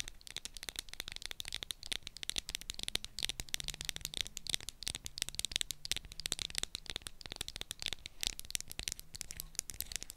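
Long acrylic nails tap rapidly on the purple plastic cap and body of a small plastic Sanex roll-on deodorant bottle held in both hands. The result is a dense, continuous run of crisp, bright clicks that stop dead with no ring, over a faint low hum.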